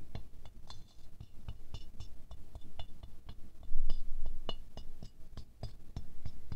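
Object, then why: Glazed ceramic rose ornament. A wooden stick taps fast between the inner petals of a small silver-glazed ceramic rose figurine. Quick, uneven clinks give short, bright ticks that fade almost at once. A steady low rumble sits underneath, and a louder cluster of taps comes about midway.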